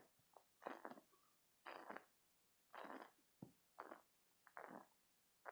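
A green spiky silicone stress toy is held in both hands, squeezed, and its spikes rubbed with fingertips and short nails. This produces a series of short, rubbery squeaking and rasping bursts centered in the midrange around 760 Hz, separated by quiet pauses. Each burst stops quickly with almost no ring.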